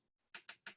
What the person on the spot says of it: i don't know if you can hear hear it tapping but they are metal